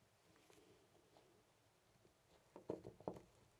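A loose, brass-finish metal door knob on a white panel door is held by the fingertips and jiggled so it rattles. Faint, soft clicking builds into a cluster of short, sharp metallic rattles near the end before settling back down.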